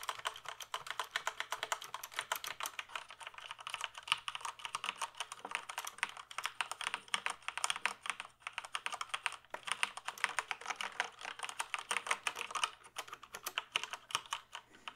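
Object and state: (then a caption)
Plastic computer keyboard being typed on. Fingertips type steadily on a full-size plastic computer keyboard held tilted, producing rapid, bright, clicky keystrokes with very short decays. The tapping runs continuously for about fifteen seconds, briefly thinning out around the middle, over a faint low hum.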